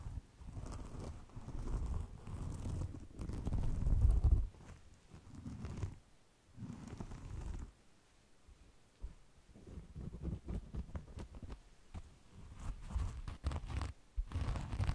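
A hand-sized rectangular kitchen sponge, white and yellow with a small orange mark, made of solid, soft porous foam with a rougher scrubber layer, is held in the hands and scratched and squeezed with fingertips and nails, mostly away from the microphone. It gives muffled, low, rumbling scratches and crinkly rustles in irregular bursts, louder near the start and quieter after, with nothing bright above.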